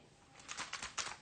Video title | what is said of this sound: Hot Curl Summer with Manes By Mell - Five Summer Styling Tips - Aveda | i'm shaking it can you hear that i'm almost done my bottle